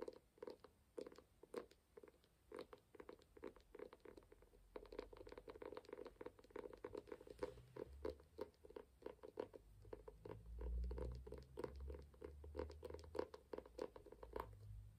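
Fingertips and nails tap on the closed brown and gold embossed cover of a small ornate hardcover book held up in the air. The quiet, dry, rapid taps and light scratches have a hollow mid-range knock with no ring. A faint low rumble swells underneath in the second half.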